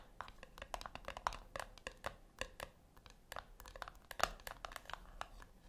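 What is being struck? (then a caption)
Round metal tin. Long nails tap and scratch the top lid of a flat, round brushed-metal tin that is likely hollow. The result is a quiet, rapid, irregular run of short, dry clicks with a bright metallic edge and faint scratching between them. Each tap dies away almost instantly.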